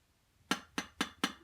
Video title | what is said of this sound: Installing a fresnel screen on a Chamonix 4x5: How to | it actually even sounds like glass